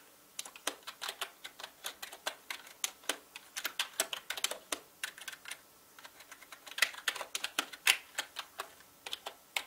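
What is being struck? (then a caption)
Plastic mechanical keyboard. Fingertips type fast on a full-size black mechanical gaming keyboard with plastic keycaps and a hollow body. It makes a rapid, steady stream of sharp, bright plastic clacks with almost no low end, each key snapping short and dry. The typing pauses briefly about two-thirds of the way through before a few louder strikes.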